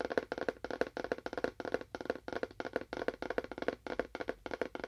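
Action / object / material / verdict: tap / small cardboard box / cardboard / none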